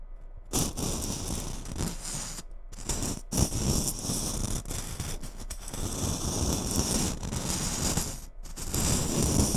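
Long nails scratch and tap the glittery surface of a small gold glitter Christmas bauble, a ball ornament that seems hollow, held on top of a microphone. The result is a steady, gritty, crackling scrape with bright hiss and dull low thumps, broken by a few brief pauses.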